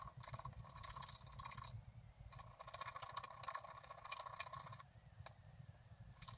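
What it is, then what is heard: Scratch art card being scratched. A wooden stylus scratches the lower flowers on a flat, black-coated scratch art card lying on a table. Quick bursts of dry, rasping scraping carry a thin squeaky tone near 1 kHz and a bright high hiss, with a low rumble underneath. Short pauses break up the strokes, and the scratching softens toward the end.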